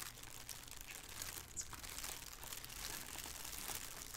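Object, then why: Thin plastic shower cap. Two hands with painted fingernails crinkle and scrunch a thin, hollow, empty black plastic shower cap with an elastic edge as it lies on a wooden table. The result is a steady, bright, dense crackling of plastic with small sharper crunches throughout, over a faint low hum.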